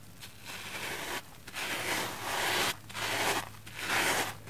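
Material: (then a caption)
Plastic foam. A red porous plastic foam sponge covered in heavy soap lather is scrubbed with a pink silicone face-cleansing brush with nubs. Four wet, bright scratching strokes are heard, separated by short quieter pauses, with a faint steady low hum underneath.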